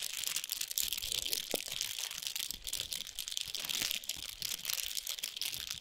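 Long pointed nails tap and scratch the wrapper of a large foil-wrapped chocolate bar with a paper sleeve, resting on a towel. The sound is a dense, continuous stream of bright, crisp crinkling and scratchy rustling, with almost no low end and only brief sharper taps standing out.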